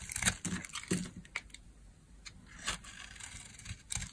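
A metal blade carves dry flakes off a solid pink oval bar of dry soap held in the hand. Crisp, bright scraping and crunchy crinkling strokes come in short bursts with quiet gaps between them, each one stopping almost instantly.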